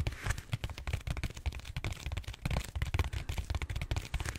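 Fingertips and short nails scratch and tap the textured surface of a large purple solid styrofoam foam roller held horizontally. A dense run of quick, dull, low thumps mixes with dry, crackly scratching that has a bright edge, each tap dying away almost instantly.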